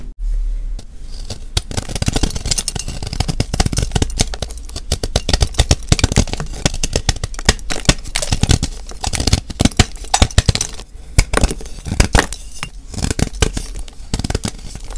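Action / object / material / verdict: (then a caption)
scrape / block of magnesium carbonate gym chalk / magnesium carbonate / none. A hand-sized solid white block of gym chalk (magnesium carbonate), held in one hand over a bowl of chalk flakes, is shaved and scraped along its edge with a flat metal blade. Dense, rapid crunchy scratches and shaving strokes run throughout, with short pauses between bursts. The sound is bright and gritty on top with a strong low thump underneath.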